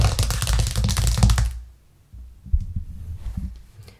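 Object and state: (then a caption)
Plastic cutting board. Long acrylic nails and fingertips tap fast on a thin, solid white plastic cutting board with a green rim, lying flat on a cork coaster. A dense burst of rapid clicking taps with a low, dull thump fills the first second and a half, then softer, scattered taps follow to the end.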